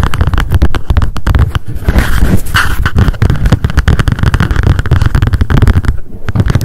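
Long decorated acrylic nails tap rapidly on a small pink m.memo spiral-bound paper notebook with a card cover, held in the hands. The taps come in a dense, continuous patter of short, dull thuds, heavy in the low end with very little brightness.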